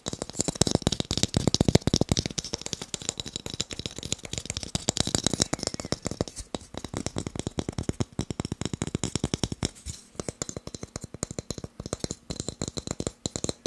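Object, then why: Wooden blocks. Fast tapping on wooden blocks makes a dense, rapid stream of short, dry taps with almost no ring. The taps carry a woody low body along with bright clicky edges, and they run unbroken for the whole clip.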